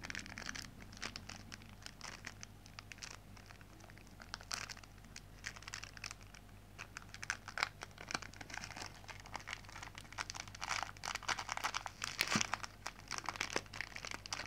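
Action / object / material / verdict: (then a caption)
scrape / plastic zip bag filled with kinetic sand / plastic, sand / none. A small clear plastic zip bag full of pink kinetic sand is squeezed and crinkled between the fingertips over a white plate. The result is a quiet, continuous stream of bright crinkling and crackling with short, sharp bursts that grow busier toward the end, over a faint steady low hum.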